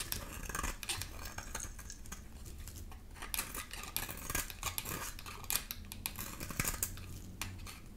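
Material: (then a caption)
Soap. A palm-sized, dry, solid oval green soap bar with a glittery blue coating is held in the hand and scraped with a black metal grater/blade tool, shedding green shavings. Dense, dry scratching and crisp rasping strokes with bright, high-pitched edges repeat steadily over a low background rumble.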